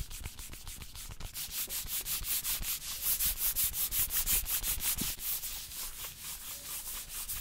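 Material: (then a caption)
Cardboard. A small closed UNO Zelda cardboard card box, held out in one hand, is rubbed and scratched quickly with the fingertips and nails of the other hand. The result is a rapid, steady run of dry, bright scraping strokes, about three per second, with a papery hiss that grows louder in the middle of the clip.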